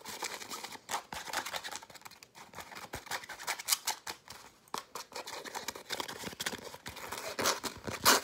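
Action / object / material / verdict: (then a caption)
scrape / soft nylon zippered pouch / nylon fabric / none. Fingernails scratch and tap rapidly on the fabric surface of a hand-sized, soft-sided blue and grey nylon zippered case. The result is a dense run of crisp, bright scratching and sharp ticking taps with almost no low end.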